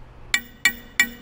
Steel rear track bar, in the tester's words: your factory track bar is not impressive just so you know I mean you can just hear the quality difference